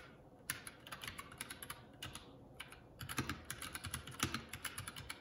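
Fingertips of both hands type continuously on a Keycool K84, a solid-bodied 75% mechanical keyboard with grey and black plastic keycaps and a red Esc key, resting on a wooden desk. About 31 short, bright clicky keystrokes come in an uneven rhythm, with a few louder taps standing out over a soft low background.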